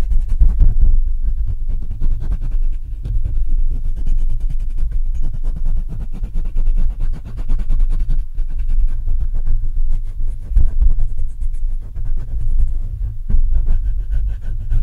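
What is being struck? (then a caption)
Microphone with metal mesh grille. Fingers rub and scratch the top metal mesh grille of a black Blue Yeti microphone. The result is a dense, continuous low rumbling with rapid scratchy crackles and faint high hiss, staying at a fairly steady level throughout.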